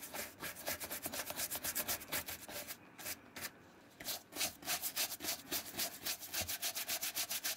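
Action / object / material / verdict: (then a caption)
scrape / leather shoe brushed with a bristle brush / leather / none. A wooden-handled bristle brush is rubbed quickly back and forth along the perforated side and inside of a dark brown leather shoe resting on a blue towel. About 28 bright, scratchy strokes come in a brisk rhythm, with a short quieter pause around the middle before the brushing resumes.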